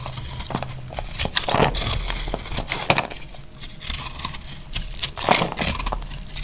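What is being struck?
Bar of soap cut with a small knife.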